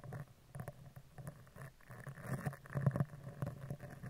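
A dark spoolie brush is scratched down the right side and then the left side of a hollow woven metal microphone mesh grille. The result is a dense, uneven run of soft, low, muffled scratching strokes with a thumping quality.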